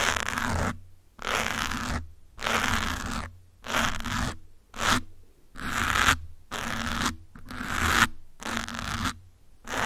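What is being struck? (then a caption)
Foam microphone windscreen. A metal pin and fingertips rapidly scratch the grey foam windscreen on a black microphone. The result is repeated bursts of close, dense scratching and rustling, separated by brief near-silent gaps. Each burst is a bright, hissy texture centred around 1–2 kHz, with a low thumping rumble underneath.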